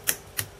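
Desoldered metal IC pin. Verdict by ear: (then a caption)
Free. Two light, bright clicks as the metal pins of a desoldered SRAM chip on a Famicom board are flicked at their ends, each springing back freely. The clicks are sharp and high-pitched with almost no ring, showing the solder is cleared and the pins are free.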